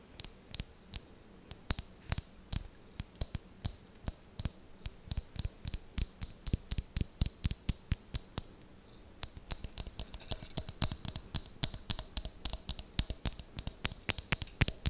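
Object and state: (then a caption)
Mosaic glass tealight holder, tapped and scratched with fingernails. Long fingernails scratch and tap the tiled surface of a hollow, empty, round glass mosaic tealight holder held in one hand. The result is a steady run of dozens of sharp, bright, ratchet-like clicks with a high glassy tick and almost no ring. There is a brief pause just before the nine-second mark, then the clicking resumes, faster and denser.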